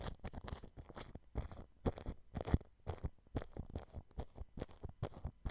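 A thin, fine-tipped paintbrush scratches and brushes clear cling film stretched over the mesh grille of a white dome microphone. Quick, close crinkly strokes come in rapid bursts with a soft, muffled low thump under each one and brief bright scratchy hiss on top.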